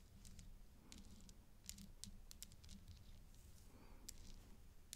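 A gloved hand taps a thin black stick on a pink acrylic bib necklace of many glossy teardrop-shaped plastic beads hanging from a gold-tone metal chain, which lies flat on dark fabric with a makeup brush resting unused nearby. Soft, irregular bright clicks and ticks with very short decay sound over a steady low hum.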